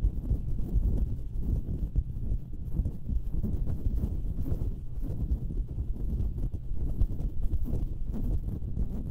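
Long painted nails scratch and tap the hollow metal mesh grilles of two identical stereo microphones at once, with no foam covers on them. The result is a dense, steady, deep rumbling scrape with quick muffled taps throughout, almost all low, boomy energy and no bright edge.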